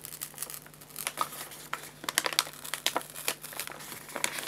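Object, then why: Paper bag of pet food pellets. Fingers grip and crinkle the paper sides of a 2 kg white paper bag of guinea pig food, filled with pellets and held upright. Quiet, bright, dry crackles come in quick irregular bursts with very little low end, each one stopping almost instantly, with sharper louder snaps in the second half.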